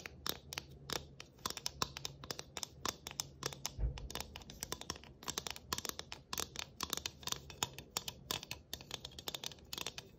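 Long nails rapidly scratch and tap across a round galvanized tin Christmas ornament with tree cut-outs and a rivet-studded rim. Dense, dry, bright clicks and scraping bursts tumble over one another with almost no ring. A faint low hum sits steadily underneath.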